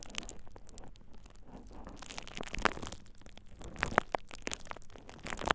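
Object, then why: Plastic bubble wrap sheet. A thin purple plastic bubble wrap sheet is held over the ears of a dummy-head microphone and squeezed and crinkled by fingertips. The result is a steady, close crinkling and crackling, with sharp, bright snaps and pops breaking through now and then.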